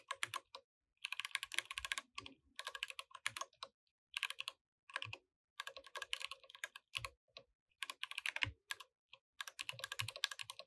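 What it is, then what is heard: Plastic mechanical keyboard. Fingertips type steadily on a compact mechanical keyboard with plastic keycaps, producing bursts of bright, crisp key clicks separated by short pauses. Each keystroke is sharp and dies away almost instantly, with very little low end.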